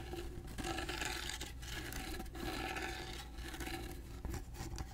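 A carved wooden box with a gold finish has its grooved side and edges rubbed and scratched rhythmically with fingernails. The result is a steady, bright rasping texture with brief pauses between strokes, over a constant low hum.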